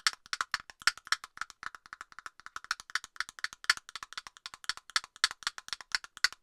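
Long nails tap rapidly on a hollow plastic cap on an aerosol can close to the mic, giving dozens of quick, dry, hollow clicks. The taps are bright and woodblock-like, with a tone around 1.7 kHz and no low end, and each one stops almost instantly.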